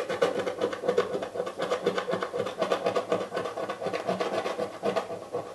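A fingernail or coin edge scratches the grey scratch-off foil coating from the lid of a small, hollow, printed cardboard Birchbox box, leaving flakes around the box. The result is a steady run of quick, rasping strokes, about four per second, with a dry, papery, hollow midrange tone.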